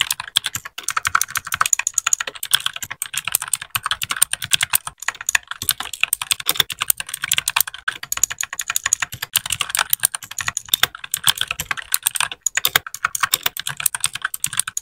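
A small white 60% mechanical keyboard with plastic keycaps is typed on steadily with the fingertips of both hands. It gives a continuous stream of sharp, bright plastic clacks with almost no low end. Each keypress dies away almost instantly.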